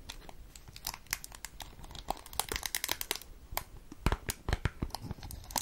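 Long nails tap and scratch a small, hollow, rectangular cardboard cigarette pack, still in its cellophane film and held close to the mic. The result is a quick, irregular run of dry, crisp clicks and bright crackling crinkles from the plastic wrapper, each dying out almost instantly with a soft low rustle underneath.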